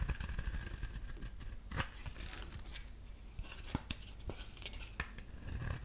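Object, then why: Bar of soap scraped with a metal blade. A metal utility-knife blade scrapes a solid rectangular beige bar of soap, shaving off dry curls. Short, crisp scraping strokes and bright crackles sit over a steady low rumble, with a few sharper clicks standing out along the way.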